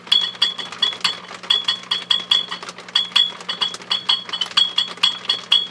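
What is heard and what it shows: Tapping the base of a microphonic 6CB6 glass vacuum tube in an HP 400H produces rapid, bright chiming clinks with short metallic rings around 3.4 kHz. A faint low hum runs underneath, and the tube rings audibly with each tap, showing it is microphonic.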